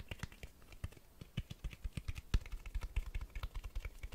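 Fingertips tap quickly on the cloth-covered board spine of a Black Berserk vol. 2 hardcover book held upright. The result is a rapid, uneven stream of soft, dull, low thuds with faint bright clicky edges, each dying away almost instantly.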